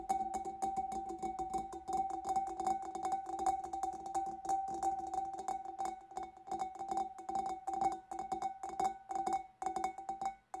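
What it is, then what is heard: Empty glass fish bowl. Long dark nails tap rapidly and unevenly on the lower sides of a large, clear, empty glass fish bowl held in both hands. Each tap gives a short, clicky ring with a clear tone near 750 Hz over lower overtones. The tapping keeps up a quick, steady patter throughout.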